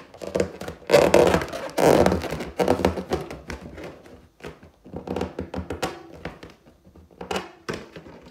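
Long teal nails scratch and tap the surface of a large, hollow, inflated clear latex balloon with a gold pineapple print, held in both hands. Loud bursts of scratchy rubbing in the first two seconds give way to irregular, dull, hollow taps and short scrapes, each fading quickly.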